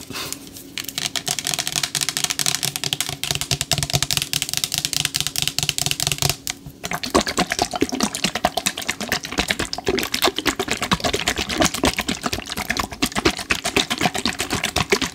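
A medium-size plastic spray bottle with a green pump and label, partly filled with yellow liquid, is tapped and scratched with long acrylic nails while being turned in the hands. The result is a fast, steady stream of bright, crisp plastic clicks and scratchy rasps, with a brief pause near the middle before the tapping resumes even denser.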